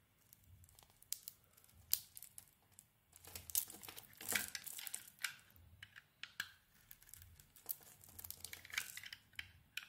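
A utility knife blade scrapes curled pink shavings off a handheld solid pink pearlescent ISANA bar of soap. Quiet, bright, crisp scraping and crinkling strokes come in irregular bursts, with a few sharper peaks and very little low end.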